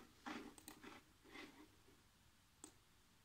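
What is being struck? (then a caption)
Plastic laptop keyboard keys. Fingertips with short nails type fast across the keys of a black plastic chiclet laptop keyboard. Quiet taps come in a quick run of soft, bright clicks, then a pause and a single last tap over a faint hiss.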